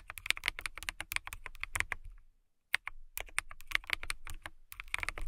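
Long nails and fingertips type on a transparent acrylic mechanical keyboard with clear plastic keycaps. Rapid, bright, clicky keystrokes with short, dry taps run steadily, stop briefly near the middle, then resume at the same quick pace.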